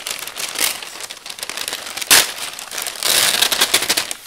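A flat, crumpled sheet of brown kraft packing paper on a wooden table is smoothed and folded with an open palm and fingertips. It produces a continuous stream of bright, dry crinkles with almost no low end, with a sharp louder crackle near the middle and a busier, louder stretch of crinkling afterward that tapers off at the end.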